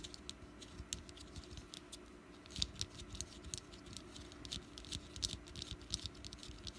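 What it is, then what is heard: Wax pumpkin candle. Long black-painted nails tap and scratch a small solid orange wax jack-o'-lantern candle with a green top and wick, resting on a dark mat. The result is a quick, dry patter of bright clicks and scratchy strokes that stop almost instantly, over a faint steady low hum.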